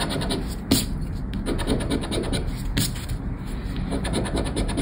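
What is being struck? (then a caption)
Paper scratchcard with latex scratch-off coating. A thin paper lottery scratchcard with a silver latex scratch-off coating, lying on black cloth and held down by fingertips, is scratched over and over with a round black scraper. The result is a steady, dense rasping scrape with soft low body, broken by two brief brighter bursts.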